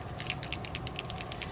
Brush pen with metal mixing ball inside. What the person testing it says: shake it up you'll hear that little striker ball if you don't hear the shaker ball then you want to keep shaking it